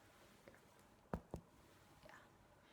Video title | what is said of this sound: Cook-bang and Storytelling! Soda Bread | tap it and it should sound hollow